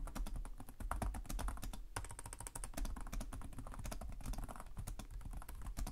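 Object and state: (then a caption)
Plastic laptop keyboard. Fingertips type steadily on the plastic keys of a black laptop keyboard, making a rapid, continuous run of short clicks and taps. Each keystroke has a soft low thump under a bright, crisp click and dies away almost at once.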